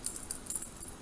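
Metal buttons sewn onto fabric double-pointed knitting needle cases are shaken, giving a quick, thin rattle of small metallic clicks with a bright high ring. Three brief clatters stand out over the 1.1 seconds. The rattle is considered undesirable because it sounds cheap.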